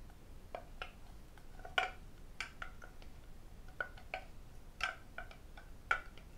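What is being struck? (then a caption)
Lacquered wooden tray. A medium red lacquered wooden octagonal tray with Chinese characters, hollow and empty, is tapped inside and outside with fingertips, nails and metal rings. Thirteen sharp, unevenly spaced clicks sound against a quiet background, each with a light hollow tone around 750 Hz and a bright edge that dies away almost at once.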